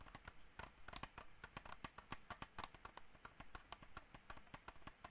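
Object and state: Plastic computer mouse.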